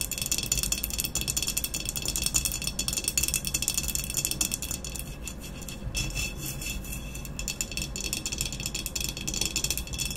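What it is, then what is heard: Ceramic vase tapped and scratched. Long acrylic nails tap and scratch quickly along the sides of a medium, hollow, empty glazed stoneware vase with a matte black textured body, standing upright on a cloth-covered table. The result is a dense, steady stream of fast, bright clicks and rasping scratches with a rattle-like texture. Each tap dies away quickly, over a faint low hum.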